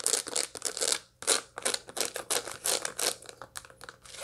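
Long light-blue nails scratch across the seed face of a dried sunflower head with seeds and green bracts held in the hand, and the bract edge is briefly handled. The result is a run of dry, bright, crackling scratch bursts in an uneven rhythm, with a short pause just past the one-second mark.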